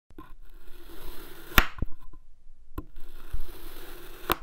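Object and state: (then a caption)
Kinetic sand being cut. A palm-sized solid pink kinetic sand cylinder resting on a white surface is sliced repeatedly with an iridescent metal knife blade. The cuts give a soft, scraping, crunchy sound, with two sharper crunches standing out. The sound is quiet and mostly low in tone, with only a little bright grit on top.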